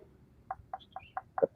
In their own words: ketukan-ketukan kelapa kopyor ini tidak begitu nyaring jadi kayak direndam